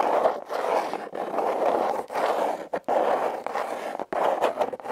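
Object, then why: Corrugated cardboard box. Long red nails scratch the ribbed surface of a hollow, red heart-shaped corrugated cardboard box. The result is a dry, rasping scratch centered in the midrange with a bright edge, played in a series of continuous strokes separated by brief silent pauses.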